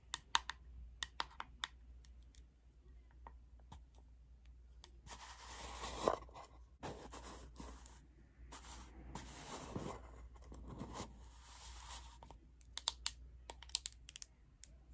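Long acrylic nails tap on the lid and side of a plastic Airspun powder jar, making sharp, bright clicks that die away almost at once. In the middle stretch the taps give way to a steady, scratchy rustle before the crisp tapping returns, all over a faint low hum.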